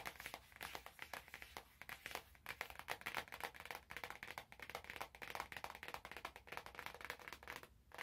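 Long nails tap and scratch a small, hollow, glossy orange cardboard product box held in both hands. The result is a rapid, uneven series of quick, dry, bright clicks and scrapes that die away almost instantly, with little low end.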